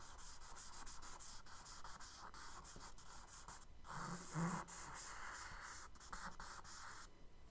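A charcoal stick is dragged in firm strokes across a kraft paper sketchbook page, scratching and rubbing out wave lines. The sound is a steady, bright, papery scraping broken by short gaps between strokes, with a louder, rougher swell in the middle. It stays quiet and close throughout.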